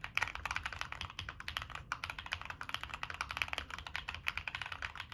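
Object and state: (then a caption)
Mechanical keyboard with aluminium case. Fingertips type continuously on a Monsgeek M1 mechanical keyboard with a black aluminum case, plastic keycaps and NK Cream switches. Around 34 short, crisp keystrokes follow in a quick, uneven stream, each clack sharp and bright, centered near 2.5 kHz, with almost no ring and little low end.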